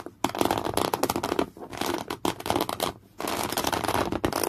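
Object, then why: Woven cotton canvas cloth. Folded thick, beige, coarse woven cotton canvas cloth is scratched hard and fast with the natural nails of one hand. The result is a dense, rapid, dry rasping scratch, broad and bright, with a few brief pauses before the next flurry.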